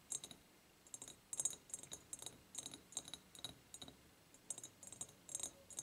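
An empty ribbed clear glass jar is tapped and rubbed on its sides by nails and fingertips. The result is quiet, bright, high-pitched clicks and ticks with a faint glassy ring and soft scratchy brushing between them. The taps come in uneven clusters.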